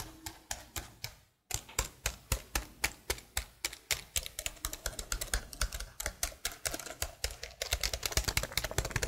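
Fingers with long blue nails type rapidly on a detached black plastic laptop keyboard held horizontally in front of a microphone. Crisp, bright plastic key clicks with very short decay are briefly interrupted by a moment of silence, then return in a steady stream. The clicks grow denser and faster near the end.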